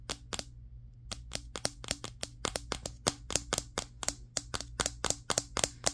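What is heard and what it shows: A handheld Samsung Galaxy S23 phone, held solid with a matte glass back, is tapped rapidly with the fingertips of both hands across the back. About 25 sharp, bright, clicky taps ring out very briefly in an uneven rhythm after a short pause near the start, over a faint steady low hum.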